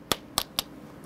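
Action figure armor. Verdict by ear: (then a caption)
Plastic. Three light, sharp taps on the plastic armor of a Hot Toys Iron Man Mark 5 action figure, which looks like real metal. Each tap is a brief, high click with almost no ring, showing it is plastic, not diecast. That is why the figure is light and fragile, and a part broke during assembly.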